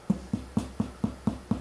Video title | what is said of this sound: Irish Soda Bread a St. Patrick's Day Must. The Best Irish Soda Bread. No yeast bread. Easy to make | Nice and hollow sounding. So I'm thinking this is done